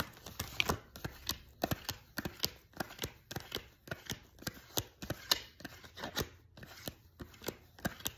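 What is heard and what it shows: A deck of thin paper tarot cards is riffle-shuffled by hand over a sequin pillow, the two halves interleaved and flicked together while fingertips and nails run along the card edges. The result is a quiet, steady run of quick, bright, papery snaps and flutters with no ring, separated by soft rustling.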